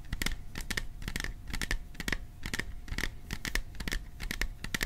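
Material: Sheet metal.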